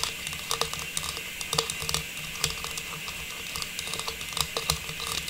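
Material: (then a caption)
Plastic. A small hollow, faceted star tree topper of silver metallized plastic, held in both hands, is tapped and scratched with long pink nails. Quick, light, crisp clicks and brief scratchy rustles repeat irregularly over a steady faint hiss, with bright, hollow plastic ticks that die away almost instantly.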